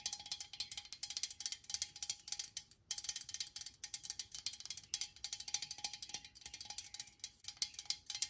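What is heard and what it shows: Long nails tap rapidly on the body of a hand-held, pressurized metal aerosol can of disinfectant spray, giving about 44 quick, bright, ringing clicks with a brief pause near the three-second mark. The taps are thin and high, with almost no low end, over a faint steady tone around 800 Hz.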